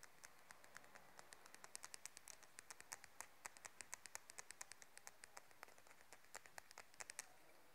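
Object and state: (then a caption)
Wooden comb. A light, solid wooden comb held in the hands is tapped and scratched along its edge with long nails. The result is a quiet, steady run of sharp, dry clicks with bright high tones and no ring, over a faint hiss.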